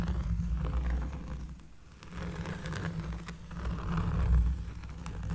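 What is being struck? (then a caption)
Cork surface. Close-up scratching on a cork surface makes a deep, bassy, rough rustling that swells and fades in uneven strokes. Most of the energy sits in a low rumble, with a faint scratchy texture above it.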